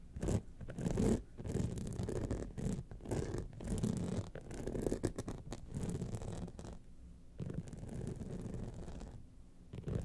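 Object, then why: Rhinestone-studded clutch wallet scratched with fingernails. Long nails scratch the sides and face of a gold rhinestone-studded clutch wallet standing upright. The result is a dense, continuous run of dull, low-heavy scratching and rasping with almost no bright content, broken by brief quieter gaps near the 7- and 9-second marks.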